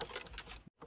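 A broken ceramic heating stove is shaken, producing a quick, bright rattle from a loose part inside it. The rattling stops briefly near the end, then starts again for a short burst.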